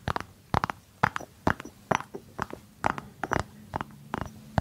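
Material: Ceramic, cork.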